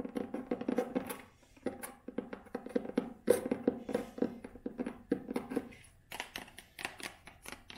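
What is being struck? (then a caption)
Leather-bound hardcover book. Long nails tap quickly across the brown cover and tan spine of a thick, solid leather-bound hardcover book. The result is a rapid stream of short, dry clicks with a mid-range knock and a bright edge, coming in bursts with brief pauses between them.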